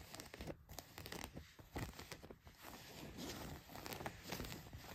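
Fingernails scratch across the back pocket and leg of blue denim jeans, making a quiet, dense run of rough, rasping strokes. The scrapes come in quick bursts with short dry crackles and no ring.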